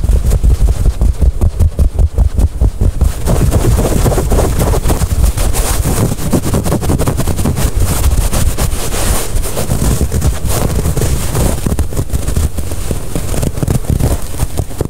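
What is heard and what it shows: A small white-cream cotton terry hand towel, soft and flexible, is held bunched in both hands close to the microphone while fingertips scrunch, squeeze and rub the fabric against itself. The result is a continuous, muffled, low rumbling rustle with a faint brighter hiss above it. It pulses in quick bursts at first and then blends into a steady texture.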